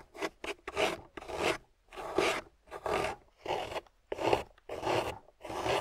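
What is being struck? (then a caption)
Block of water-soaked clay. A solid, water-soaked grey clay block held in the hand is scraped with a metal loop tool. Thirteen short, uneven rasping strokes sound dry yet gritty, with a mid-range body and some bright scratchy edge, separated by brief pauses.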